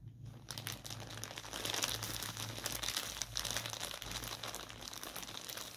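A white soft polyethylene mailer bag with a dark item inside is held in both hands, torn open at the top and crumpled by the fingers. Dense, bright crinkling and tearing run almost continuously after a quiet start, over a steady low hum.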